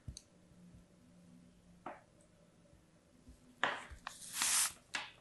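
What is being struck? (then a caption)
Block of kinetic sand cut with a thin metal blade. A solid, palm-sized slab of purple kinetic sand is held in the fingers and repeatedly sliced and scraped with a thin metal blade. Five quiet, crisp crumbling cuts and scrapes are heard, with a longer, louder bright scrape near the end.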